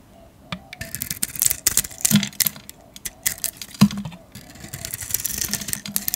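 A metal blade shaves the glittery grey painted coating off a solid yellow soap bar held in the hand. The result is a run of dry, crackly scraping strokes with bright, crisp edges. Two louder, fuller scrapes stand out near the middle.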